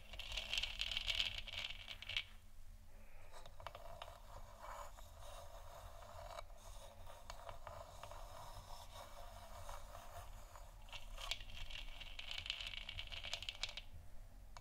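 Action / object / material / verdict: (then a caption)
tap / hollow plastic lamp sphere / plastic / none. Long nails tap and scratch quickly on both sides of a lit, hollow plastic moon lamp sphere. They make a dense, fast, bright clatter that is loudest in the opening two seconds and again near the end, with a softer, muffled scraping in between. A steady low hum runs underneath throughout.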